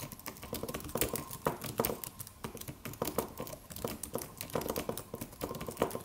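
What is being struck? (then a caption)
Aluminum keyboard with plastic keys. Fingertips of both hands tap the white plastic keys of a slim silver aluminum computer keyboard with a solid low-profile body, in a typing motion. The result is a steady stream of quick, soft clicks and taps, some louder than others, each dying away almost instantly with a mid-pitched tone.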